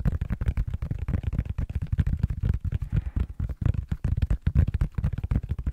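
A tablet in a blue silicone rubber case, held flat with its back side up, is tapped rapidly with the fingertips and short nails of both hands. The result is a dense run of soft, dull, low thuds with almost no ring and little brightness.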